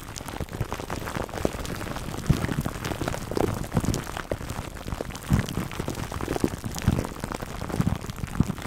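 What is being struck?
Foam microphone windscreen wrapped in plastic film.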